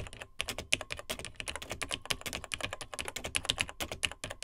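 Fingertips of both hands type steadily on the dark plastic keys of a beige plastic vintage Tandy TRS-80 Model 100 portable laptop computer. The result is a rapid run of bright, crisp plastic clicks and clacks, each dying away almost at once, with a faint low thump under some keystrokes.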